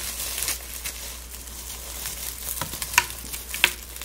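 Gloved hands pick up, squeeze and rub a pile of brittle dried rose petals and pink dried plumes. The result is a soft, bright, crackly rustling, with a few sharper crunches near the end.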